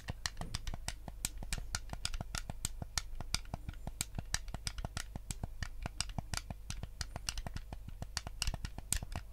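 A white hollow plastic Nintendo GameCube controller is held close to the camera as fingertips tap and click its buttons and scratch its surface. A steady run of sharp, dry plastic clicks with bright, brief transients plays over a low, constant hum.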